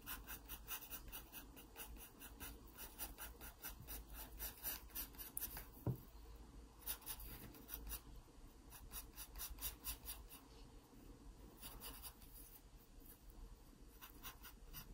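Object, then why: Wooden pencil on a paper sketchbook page. A wooden pencil scratches short, repeated strokes across an open paper sketchbook page while shading the body of a drawn pear. The quiet, dry rasping comes in bright bursts over a steady low hum, with one sharper scrape near the middle.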